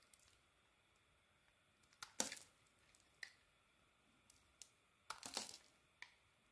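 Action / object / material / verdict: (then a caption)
scrape / solid bar of soap / soap / none. A small metal blade scrapes thin curls and chunks off a solid, mostly unwrapped beige bar of soap held in the hand, with a finger wrapped in tape. Brief, bright scraping clicks and crackles are scattered over quiet background, with two longer, louder rasping scrapes as bigger pieces come away.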